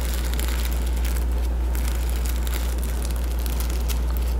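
Fingertips and nails rub and scratch across a patch of reversible plastic sequins on the front cover of a medium hardcover children's board book held upright. Crinkly flipping and scratching sounds flicker in quick, uneven bursts over a steady low hum.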